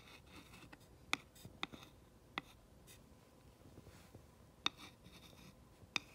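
A glass rod tip is traced along the black lettering of a flat, solid wooden sign. Soft, bright scratching and rubbing runs throughout, broken by five sharp, very short clicks spaced irregularly across the clip. The sound stays quiet and dry, with almost no ring after each click.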